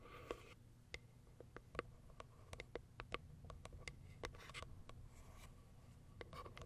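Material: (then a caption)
Cardboard. Long acrylic nails tap and scratch on the top and plastic window of a small white Kiara Sky cardboard box. Quick, sharp clicks land in an irregular patter over soft scraping, with a low steady hum underneath, and each tap dies away almost at once.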